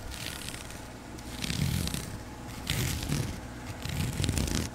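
Fingertips and long pink nails scratch and rub along the woven surface of a flat grey strap, probably nylon webbing, about a hand wide and held in one hand. Uneven, scratchy rasping comes in swelling bursts with a bright hiss on top of a steady low rumble.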